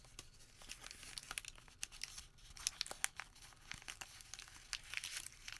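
A single sheet of thin printed thermal-paper store receipt is held in both hands over a white surface while fingertips crumple, unfold and crinkle it. The result is quiet, bright, dry crackling and crinkling, with many sharp, short snaps over a soft rustle and almost no low end.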